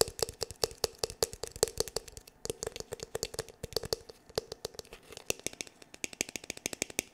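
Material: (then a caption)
Plastic. Fingertips and nails tap rapidly on the hard shell of a black glossy hollow plastic paddle hair brush's back, about fifty quick, dry taps in just over seven seconds. Each tap is a short, bright click over a hollow tone near 450 Hz that dies away almost at once. The rhythm stays steady but uneven in strength, with a denser run of taps toward the end.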